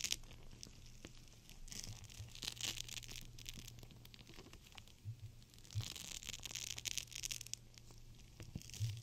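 A clear plastic gel bead cold/hot pack, full of beads, is bent and squeezed in the hands, giving bright crinkling and crackling in uneven bursts. The crackles are loudest around two to three seconds and again from about five and a half to seven and a half seconds, over a steady low hum.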